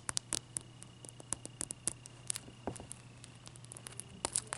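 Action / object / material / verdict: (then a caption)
tap / block of clear ice / ice / none. Long dark nails tap and scratch the faces of one solid, clear ice cube up close. Many quick, dry, bright clicks and ticks come in irregular bursts with short scratchy rubs between them, over a faint low hum and a thin steady tone. Each tap stops instantly with no ring.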